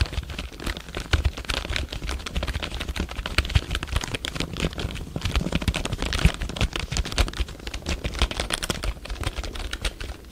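Fingertips tap and press the keys of a full-size black plastic computer keyboard held diagonally by the microphone. The result is a steady, rapid stream of short, dry clicks with a deep thumpy body and bright key snaps, each dying away almost at once.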